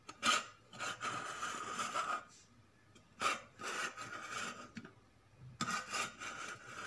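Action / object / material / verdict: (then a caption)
scrape / stainless steel cooking pot / stainless steel / none. A large, hollow, shiny stainless steel cooking pot with a lid and handles is held close and tapped and scratched with long nails and fingertips. Sharp taps ring briefly with a bright metallic tone around 1.25 kHz. They alternate with longer, raspy scraping strokes across the metal.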